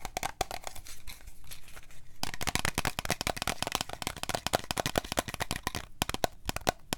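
Long fingernails tap and scratch around the sides and label of a hand-sized, cream-coloured plastic body lotion bottle with a paper or plastic label and a printed cap; it is hollow and appears to contain product. Rapid, dry clicking taps with a faint hollow tone near 700 Hz mix with crinkly scratching across the label. The tapping grows louder and denser after about two seconds, with a brief lull near the six-second mark.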